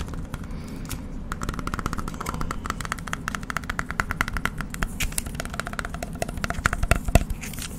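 A small, rigid clear plastic BGS grading slab with a 9.5 label, holding a holographic trading card, is held in both hands and tapped rapidly with the fingertips close to the microphone. Dozens of short, sharp, clicky taps come in quick bursts over a steady low rumble, each dying away almost instantly.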